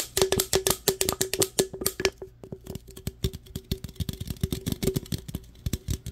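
Fingernails tap and scratch rapidly across the printed sides of an aluminum root beer can, producing a quick run of about 33 crisp, bright clicks with brief scratchy strokes between them. Each tap sounds a short, hollow metallic ring near 383 Hz that dies away almost at once.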